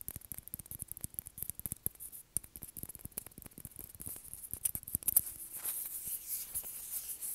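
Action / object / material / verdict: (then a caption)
tap / plastic ping pong ball / plastic / none. A small, hollow, white plastic ping pong ball held in the hand is tapped and scratched with fingernails. It makes a rapid run of quiet, dry clicking taps, then turns into denser, continuous scratching over a steady bright hiss.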